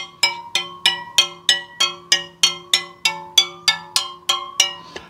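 Carbon spokes on one side of a Superteam all-carbon rear wheel are tapped one after another with a plastic pen to compare their tension by ear. About fourteen short, bright, ringing ticks follow at a steady pace, each with a similar pitch. The tones are very good and quite consistent, showing the spoke tension is even.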